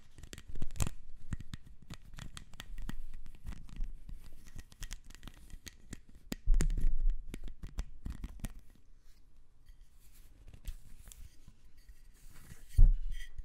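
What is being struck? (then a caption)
Ribbed plastic corrugated hose. Long nails scratch along the ribs near the hard plastic end piece of a black, ribbed, hollow plastic corrugated hose. The result is a steady run of dry, rapid scratching ticks with a dull, low body. It swells into louder rasping bursts near the start, around the middle and at the very end.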